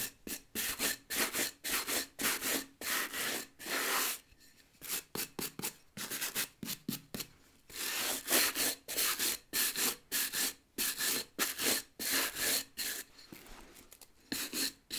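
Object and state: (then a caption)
Rubber boot sole being brushed. A stiff bristle brush with a wooden back scrubs back and forth across the rubber tread of a solid, tan nubuck work boot held in one hand. It makes about 31 dry, bright, scratchy strokes at an uneven pace, with brief pauses between bursts. The sound is almost entirely high hiss with very little low end.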